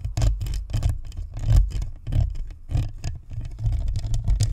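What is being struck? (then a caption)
Plastic microphone shell with metal mesh grille. A white spherical Blue Snowball USB microphone on a stand, with a hollow plastic shell and perforated metal grille, is scratched and tapped by long acrylic nails while fingertips rub it. Close, irregular bursts of scratching and tapping repeat, heavy in deep low-end rumble with brief bright scraping edges.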